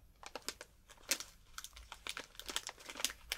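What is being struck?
Foil snack wrapper.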